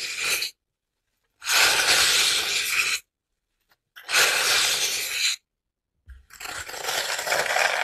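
Long manicured nails press into and scratch the top surface of a large rectangular grey-green floral foam (oasis) brick, solid and porous, resting on a wooden table. Four separate bursts of bright, dry crunching and scraping are heard, each lasting one to two seconds with silence between. The foam crushes under the nails.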